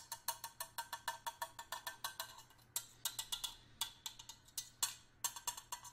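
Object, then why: Stainless steel hip flask. A small, hollow stainless steel hip flask, fill level unknown, is held in one hand and knocked with a small metal screwdriver held in the other. About 31 quick, bright metallic taps ring briefly with a high, bell-like tone, in an uneven rhythm with brief pauses.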